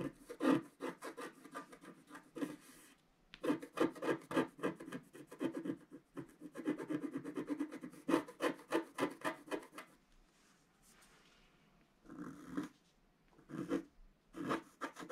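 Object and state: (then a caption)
Scratch-art card being scraped. A wooden stylus scratches the coating of a flat black scratch-art paper card, working on a pink flower at the lower left. Quick, dry rasping strokes repeat in bursts of varied rhythm, centered in the low-mids with faint high edges. A near-silent pause falls in the second half before the scratching resumes in shorter runs.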